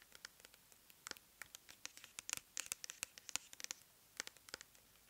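Long nails scratch and tap the label and body of a clear plastic pump bottle filled with cleansing gel, held on its side. About 24 quick, dry clicks and scratchy strokes, bright and crisp with almost no low end, each stopping at once with no ring.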